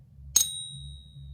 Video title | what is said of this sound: Ping Test Tips - Silver Bars and American Silver Eagles | it still sounds like silver for sure